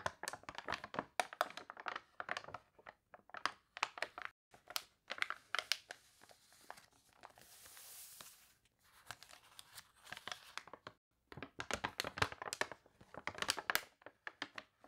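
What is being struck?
Glossy paper catalog.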